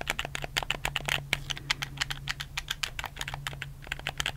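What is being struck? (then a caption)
Plastic game controller buttons. Fingertips rapidly click the buttons of a black, hollow plastic PS4 controller held in both hands. The result is a fast, uneven run of short, bright plastic clicks over a faint steady low hum.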